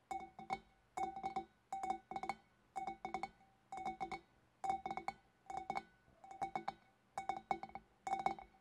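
Long black nails tap with both hands on the shoulders of a large, hollow, empty clear glass fish bowl. Bursts of quick, bright clinking taps repeat about once a second. Each tap rings briefly with a clear glassy tone around 785 Hz.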